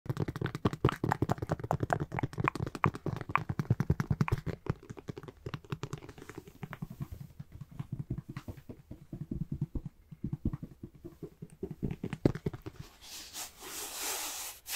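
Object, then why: Hard-shell fabric-covered carrying case. A closed, roughly tablet-sized, hollow black zippered hard-shell fabric-covered carrying case for a Nintendo Switch is held in both hands and tapped and scratched with fingertips and nails. Rapid, dense, dull hollow taps with a low, thumping body and almost no ring fill most of the clip, gradually thinning out. It ends in a brighter, hissing scratch across the surface.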